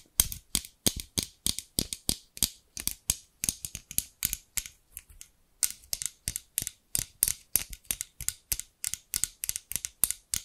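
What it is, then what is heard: Scissors with plastic handles tapped by fingernails. Long pink acrylic nails tap and scratch the translucent amber plastic handles of large tailor-style scissors with steel blades, held close. A fast, uneven run of sharp, bright clicks and scrapes follows, with a brief pause near the middle before the tapping resumes.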